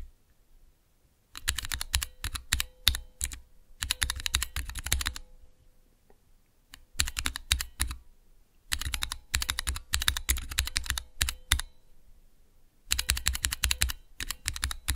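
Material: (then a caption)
Plastic. Fingertips type rapidly on the clear plastic keycaps of a small, hollow plastic switch tester fitted with Cherry MX switches. Bursts of sharp, bright clacks with a low hollow thump come in quick runs, separated by short silent pauses. Each keystroke dies away almost instantly.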